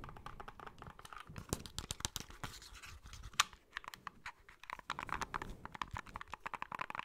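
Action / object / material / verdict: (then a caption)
scrape / plastic handheld game console shell / plastic / none. Fingertips and nails tap and scratch the hollow plastic back shell of a small white plastic handheld game console, whose grip ridges give a rasping texture, while its shoulder buttons are pressed. Dense, dry clicks and scratchy rustles dominate the high range, with a sharp bright click near the middle and a brief quieter pause before the tapping resumes.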